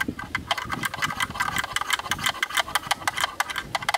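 A thin bamboo stick taps rapidly and rhythmically on the bayonet ring on the mount side of a black plastic camera lens hood. About 24 short, dry knocks fall in an uneven rhythm, each a bright, hollow click centred near 1.6 kHz with almost no ring or low end.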